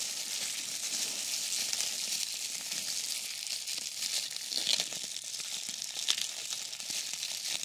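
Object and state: Plastic bubble wrap.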